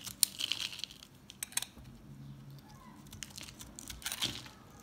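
A metal box-cutter blade scrapes and shaves a hand-sized, green and white bar of recycled soap chips held in the hand. Bright, crisp scraping and crunching sounds come in quick clusters, with short quieter stretches between them. Faint low hum sits underneath throughout.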